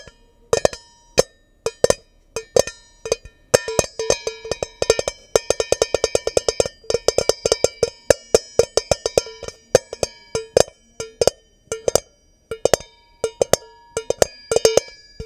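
Long nails tap on the domed bottom of a medium stainless steel mixing bowl held upside down, hollow and empty. The result is an irregular stream of quick, ringing metallic hits with a bright tone around 540 Hz and high shimmering overtones, each dying away fast.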